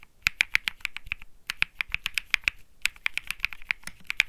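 Fingertips type continuously on a cream Think 6.5 mechanical keyboard (Bsun Lollipop) with plastic keycaps, producing about 26 quick, dry clicks with a bright, clacky tone centered near 2.4 kHz. Each press ends almost instantly, with little low-end weight and short gaps between bursts of keystrokes.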